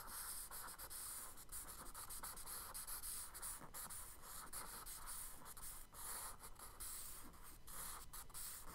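A charcoal stick rubs and scratches along a kraft paper sketchbook page in longer strokes, shading the water on the right. The result is a steady, quiet, dry scraping hiss with a bright, airy texture. Brief gaps and changes in pressure break it into repeated strokes.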